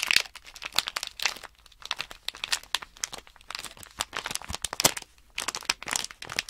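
Fingertips and nails press, crinkle and rub a small sealed plastic Nanoblock package bag, a blister bag with a cardboard insert holding loose plastic building blocks. The result is a steady run of bright, crisp crinkles and crackles with little low end, coming in dense bursts separated by short quiet gaps.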